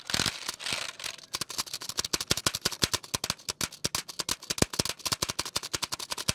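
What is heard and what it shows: Fingertips rapidly tap the plastic keys of a full-size black plastic computer keyboard with a hollow case, held close. A brief, bright, noisy rustle opens the clip, then gives way to a fast, steady stream of short, crisp clicks. Each click is dry, high-pitched and clacky with almost no ring.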